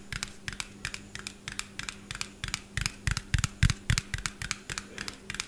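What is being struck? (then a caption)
Small plastic bottle. A small, hollow white plastic bottle with a yellow cap is held with both hands above a microphone and tapped quickly with fingernails. The result is a rapid, uneven run of about 25 sharp, bright clicks with very short decay, some landing harder with a low thump. A steady low hum sits underneath throughout.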